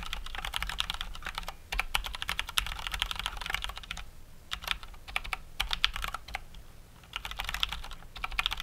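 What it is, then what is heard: Plastic mechanical keyboard being typed on. Both hands type with their fingertips on a COX Dauntless full-size mechanical keyboard with plastic keycaps and Cherry MX Brown switches. The result is rapid, bright, short keystroke clacks in bursts, with brief lulls around four and seven seconds over a faint low hum.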